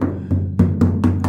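Six knocks on the bottom of the rusted steel rear quarter panel of an HQ coupe, whose lower section is rusted through on the inside, each giving a short, dull, low thud around 94 Hz with almost no high ring. The panel sounds solid and not full of dirt because of an old poor weld repair in it.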